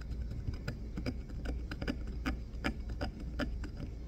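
A solid green bar of soap, held in the fingers, is carved and scraped with the blade of a wooden-handled craft knife. An irregular run of short, crisp cutting clicks and scrapes, with bright edges, repeats over a steady low hum.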